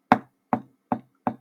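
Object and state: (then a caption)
Hollow object, resonant knock. A hollow object standing in for a chest is knocked four times to model percussing the ribcage over an air-filled cavity. Each knock is a short, resonant, hollow tap centered around 740 Hz that fades quickly. The result is a normal resonant percussion sound.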